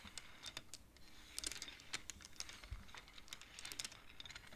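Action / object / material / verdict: scrape / wooden abacus with wooden beads on metal rods / wood / none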